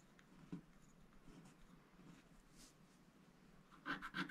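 A wooden stylus scratches across a black-coated scratch-art paper sticker sheet, working over the flamingo and giraffe areas. Quiet, grainy scraping and rubbing runs throughout, with a sharp scratch near half a second and a louder, brighter burst of scratching near the end.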